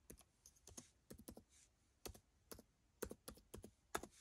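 Fingertips press and tap the plastic keys of a dark plastic laptop keyboard as the laptop sits on carpet. Quiet, short clicks and soft thunks come in uneven little bursts, each dying away almost instantly.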